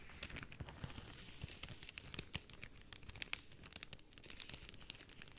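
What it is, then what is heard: Cellophane sheet. A large, thin sheet of translucent pink plastic cellophane is held in both hands and crinkled and folded with long dark-painted nails and fingertips. The result is a quiet, continuous stream of sharp, bright crackles and crinkles that stop instantly, with soft low thuds underneath.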